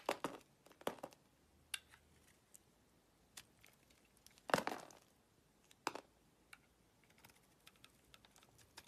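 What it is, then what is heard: Bar of soap being shaved with a blade. A utility knife blade shaves chunks off the surface of a solid oval green branded bar of soap held in the palm, making quiet, dry scraping and cutting sounds. Short, crisp cuts come at irregular intervals, with one longer, louder scrape near the middle. Each cut fades almost instantly against a hushed background.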